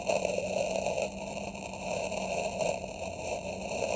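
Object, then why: Packed kinetic sand in a plastic tray, scraped with a metal knife tip. A dark metal knife tip is pressed into packed red kinetic sand in a small square plastic tray and dragged, scratching lines into it. The result is a steady, grainy scraping crunch centered in the midrange, with a bright hiss over it and a few small swells in loudness.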